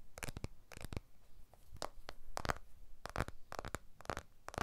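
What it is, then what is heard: Glass-backed smartphone tapped. Fingertips tap and rub the glass back and aluminium edges of a blue iPhone 12 smartphone while it is turned in the hands. The result is quick, dry, bright clicks in short clustered bursts, with soft scratchy rubbing and a faint low rumble between them.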